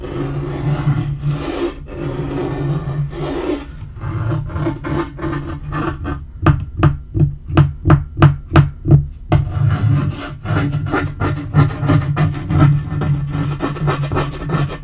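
Fingertips and nails scratch and rub across a dark wood-grain laminate portable table top, a flat panel, making a low, dull rasping hiss. Midway the rubbing gives way to a quick run of distinct, short, dry taps before faster scratching strokes resume. The sound stays deep and muffled, with almost no bright edge.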